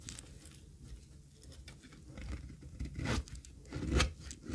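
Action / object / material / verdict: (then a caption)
scrape / bar of soap cut with a metal blade / soap / none. A metal utility blade scrapes and cuts thin flakes from the surface of a flat, solid, pale beige dry soap bar, held by a hand with long red nails over a heap of shavings, in repeated strokes. Soft, dry scraping and crunchy crackles build into sharper bright shaving bursts that grow louder toward the end, with little ring after each stroke.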